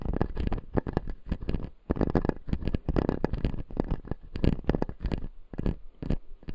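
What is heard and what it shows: A fingertip scratches and taps the white plastic teeth of a closed, solid clear acrylic dental model. The result is a dense run of dry, close scratching and tapping bursts, mostly low and thumpy with some brighter clicks and almost no ring.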